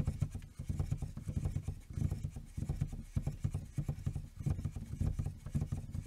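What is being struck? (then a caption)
Plastic dashboard air vent. Fingertips and short nails tap, rub and scratch along the hard plastic slats and small chrome-trimmed adjuster tab of a hollow car dashboard air vent. The result is a continuous stream of quick, dry, low-pitched hollow taps and rasping rubs with no ringing.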